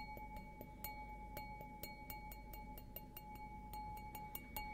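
An empty stemmed glass beer goblet with a green logo, held upside down, is tapped repeatedly with a fingernail. Each light, bright tick sets off a sustained glassy ring near 850 Hz with a higher overtone, while a quiet low hum sits underneath.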